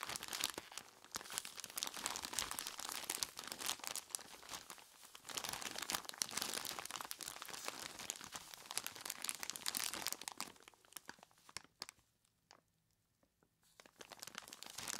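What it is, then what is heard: Plastic bag of ice cubes. A large clear plastic bag full of ice cubes is squeezed and scratched by gloved hands with long skeleton-claw tips. Dense, bright crinkling and crunching fills most of the clip. It thins out to near-silence around twelve seconds, then picks up again at the end.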